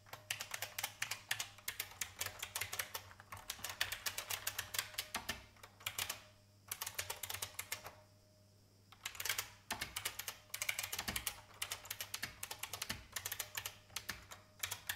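Fingertips with red-painted nails type rapidly on a vintage beige plastic IBM mechanical keyboard with plastic keycaps. Dense runs of bright, sharp clicks with very short decay are broken by brief pauses around six and eight seconds, over a faint steady low hum.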